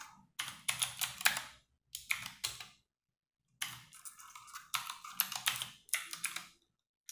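Fingertips and long nails type fast on a compact 60% RGB-backlit mechanical keyboard with plastic keycaps resting on a wooden desk. Bursts of bright, crisp clacks come in quick runs, separated by short silent pauses, with very little low-end thump.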